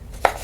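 A single sharp tap on a book's wooden cover gives a short, dry knock centered around 750 Hz. It fades within a few hundredths of a second over a quiet, low background.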